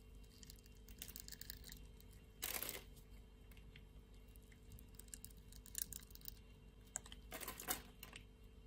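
A box-cutter blade cuts scored cubes off the surface of a solid, translucent pink, rectangular glycerin-type soap bar held in the hand. Soft, crisp crackles and scrapes are heard throughout, with brighter, louder bursts as pieces break away near the middle and end. A steady low hum sits underneath.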